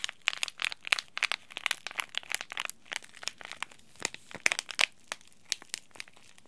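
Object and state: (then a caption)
Crinkled foil tea bag packet. A small, sealed, green laminated plastic-foil tea bag sachet is crinkled and rubbed between the fingertips of both hands. It gives a dense, irregular run of sharp, bright crackles and crinkles with almost no low end. Each snap stops dry, with no ringing tail.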